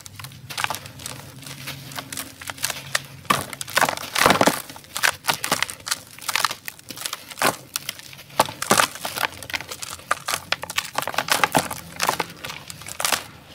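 A large packed block of dry grey sand-cement powder is held in bare hands and crumbled apart with the fingers over a tray of the same powder. Dense, dry crunching and crinkling crackles come in quick bursts, with some brighter crushing snaps around the middle. The dry material breaks and crushes into loose powder.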